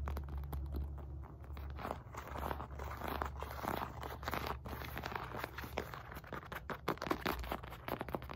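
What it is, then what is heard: Synthetic leather medicine ball. Fingertips and nails tap and scratch the top of a solid, red and white stitched synthetic leather medicine ball weighing 4-5 lb. Rapid, dense taps mix with dry, scratchy scraping over a steady low hum, with each tap short and dead.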